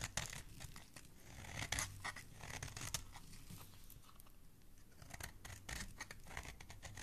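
A metal utility-knife blade carves and scrapes thin shavings off the edge of a solid, palm-sized green bar of soap held in the hand, with the shavings piling up. Quiet, crisp scraping strokes and bright crackling clicks come in quick, uneven bursts, with a faint low rumble underneath.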